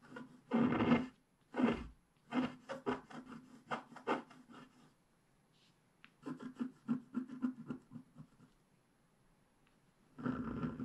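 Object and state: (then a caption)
Scratch-art card being scraped. A wooden stylus scrapes the black wax coating near the lower right of a flat scratch-art page (black wax over a colored base) lying on a table. It makes soft, dry rasping strokes: a couple of longer scrapes, then a run of short quick scratches. After a brief quiet pause, another burst of scratching follows, and a longer scrape closes the clip.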